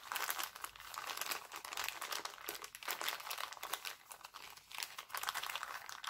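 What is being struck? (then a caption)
Thin clear cellophane bag. A thin, empty, clear cellophane bag printed with hearts is crinkled and smoothed between fingers. The result is a continuous, dense, bright crackling rustle with no low end, rising and falling in waves with brief dips in between.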